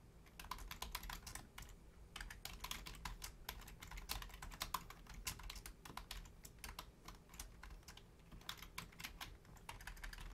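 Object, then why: Plastic computer keyboard. Long painted nails and fingertips type on the low-profile keys of a full-size black plastic Logitech keyboard. Quick, bright clicks and taps come in a steady, continuous stream over a low background hum. Each keystroke is short and dies away almost at once.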